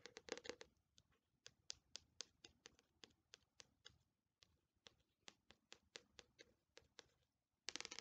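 An Attack on Titan paperback manga volume with a glossy paper cover, solid and held upright, is tapped and scratched by long nails. A quick scratchy flurry opens the clip, followed by a steady run of short, bright, crisp taps with almost no ring. It ends in another dense burst of scratching.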